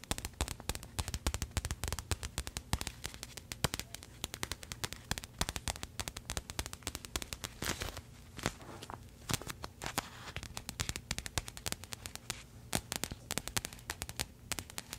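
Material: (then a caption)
Plastic. A filled pink printed plastic package is tapped and scratched with paperclip fake nails. Rapid, sharp clicks and crinkles run steadily throughout, bright and dry with almost no ring, over a faint low background hum.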